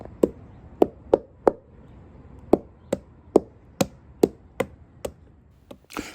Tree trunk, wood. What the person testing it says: wherever I thump it you can hear Hollows and you can hear Decay